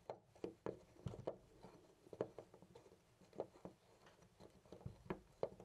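A loose brass-colored metal door knob on a white panel door is held with fingertips and rattled and jiggled. It makes a quiet, irregular series of short, dry clicks and clacks with a mid-pitched knock and almost no ring. The knob's looseness is heard in the uneven play of the rattling.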